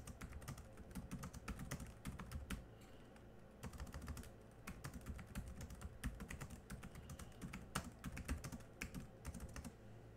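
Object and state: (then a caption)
Plastic laptop keyboard being typed on. Fingertips type with both hands on the black plastic keys of a small silver laptop keyboard, then one hand presses the last few keys. The result is rapid, soft, dull clicking in uneven bursts, with a short pause early on and brighter, sharper key taps mixed in.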